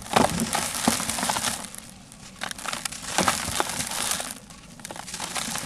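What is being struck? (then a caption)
Sand-cement block. Bare fingertips rub and crumble the surface of a large, solid, porous, dry grey rectangular sand-cement block held over a blue plastic tub. Gritty sand falls away with a steady, bright crunching and crackling that rises and eases in waves. Metal bangles on the wrists may add a faint clink.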